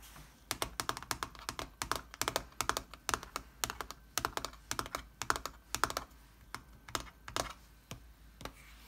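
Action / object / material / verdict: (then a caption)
tap / laptop keyboard with plastic keys in a metal body / plastic / none. Fingertips with painted nails tap the plastic keys of a silver aluminium laptop with a solid metal body in a steady typing motion. Quick, dry clicks come in irregular bursts and fade almost instantly, with a bright, crisp edge and little low end.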